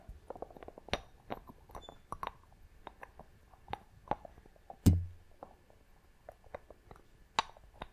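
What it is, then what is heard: Glass box with wooden lid. Long nails tap and scratch the wooden lid of a small clear glass box, producing a series of short, crisp clicks with brief scraping between them. One louder hit lands with a deeper, resonant thump before the quiet tapping resumes.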